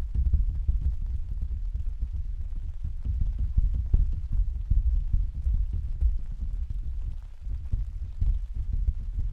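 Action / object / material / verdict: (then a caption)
tap / plastic vinyl umbrella canopy / vinyl / none. Several hands tap and pat with their fingertips on the thin, hollow canopy of an open, translucent white plastic/vinyl umbrella standing on a stand. The result is a dense, steady patter of soft, muffled low thumps centered around 74 Hz, each dying away quickly, with almost no bright or high content.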